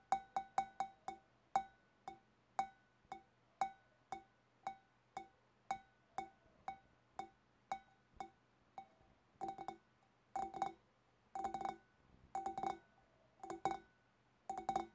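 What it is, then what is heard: Empty glass fish bowl. Long black nails tap the upper sides of a large, hollow, empty clear glass fish bowl with both hands. Spaced single taps ring briefly at a clear mid pitch near 780 Hz with bright clicky edges, then give way to quick clustered flurries of tapping.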